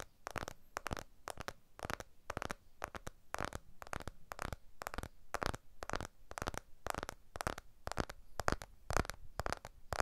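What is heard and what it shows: Fingertips tap and rub the glass back and aluminium edges of a blue iPhone 12 smartphone while it is turned in the hands. The result is a quick, irregular run of soft, dull taps with short scratchy rubbing between them, each tap dying away almost at once.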